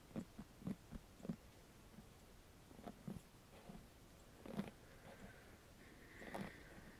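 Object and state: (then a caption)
Plastic paddle hairbrush. Fingertips tap and scratch across the cushioned bristle face of a handheld black paddle hairbrush with a hollow plastic body, held close. Soft, dull, low thumps come in an irregular series with brief scratchy rustles between them. Near the end, a longer brushing scrape brings out a thin, brighter tone.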